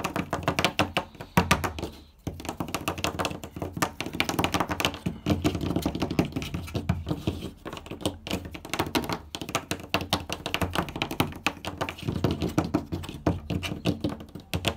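Both hands tap and scratch a flat, light-colored wooden door with their fingertips and nails. Fast, dense, dry taps and knocks mix with scratching, with a brief pause after about two seconds. Each hit is a short, dull thunk that dies away almost instantly.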